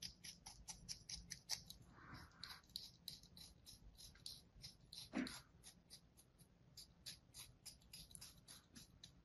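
A thin metal blade cuts lines into a solid slab of kinetic sand resting on a palm, making a steady run of about thirty crisp, bright slicing crunches. One fuller, louder crunch with a lower body stands out around the middle, over a faint low background hum.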